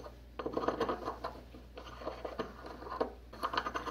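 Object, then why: Porcelain mortar and pestle. A porcelain pestle grinds and scrapes white powder against the inner wall of a small white porcelain mortar, held tilted in a gloved hand. Gritty, rasping scrapes come in three uneven bursts with small clicking ticks, centered in the mid range, over a faint steady low hum.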